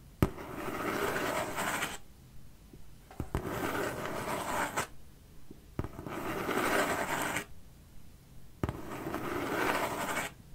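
Fingertips and nails scratch and rub the surface of a large, empty-looking corrugated cardboard shipping box held in front of the face. Four broadband scratching passes, each about one and a half seconds long, open with a sharp tap. They are separated by short quiet gaps and sit mostly in the low and middle range.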